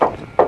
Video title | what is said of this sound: 1966 Ford Mustang V8 Coupe Wimbledon White | c'est ça sonne creux c'est joli comme tout